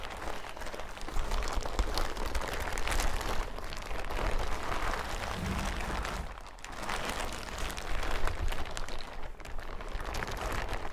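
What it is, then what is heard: Plastic hazmat suit. A large, thin, hollow yellow plastic hazmat suit is held up in both hands and crinkled, shaken and handled. It makes a steady, dense crinkling rustle over a heavy low rumble, with a brief lull about two-thirds of the way through before the rustling picks up again.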